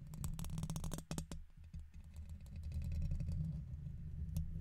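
A red plastic guitar pick held in the fingers is scratched across the side and top of a silver condenser microphone's hollow metal mesh dome grille. Quick, uneven bursts of dry scraping clicks and rasps sit over a heavy, boomy low rumble. The scratching is dense and busy in the first second, then turns sparser and grittier.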